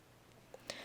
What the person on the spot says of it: creme brulee as your spoon comes down to tap its upper crust you can hear the beautiful sound of burnt sugar a hollow yet robust and glassy sound with no echo and no thud but more a thunk and a ting